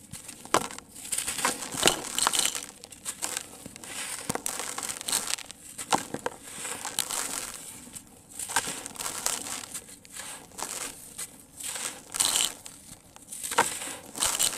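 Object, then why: Sand-cement lumps. Bare fingertips squeeze and crumble fist-sized, solid, dry, grainy sand-cement chunks in a grey tub, and loose dry grains pour back into the tub. Dense, bright crunching and gritty crackles come in uneven bursts with brief quieter gaps, and almost nothing sits in the low end.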